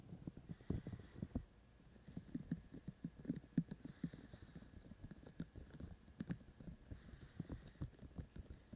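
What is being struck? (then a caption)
Binaural microphone with soft silicone ears. Fingertips of both hands tap on the white silicone ears of a binaural microphone. The result is a quiet, steady patter of soft, dull, low-pitched thumps that die away almost at once, with a short lull near the start and faint higher hiss drifting in and out behind them.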